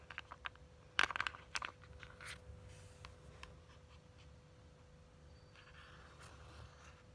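Long glittery nails scratch and tap the cover of a hollow, flat purple printed cardboard Ciaté eyeshadow palette. A cluster of sharp, bright clicks near the start is followed by softer dry scratching and faint tapping, with a steady low hum underneath.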